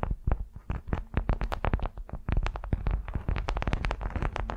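Long nails of both hands scratch and tap a large, flat, patterned beeswax-coated cotton wrap resting on a furry mat. A rapid, uneven series of short, dry crinkling taps and scrapes follows, mostly dull and low, with brief crisp streaks that die away almost instantly.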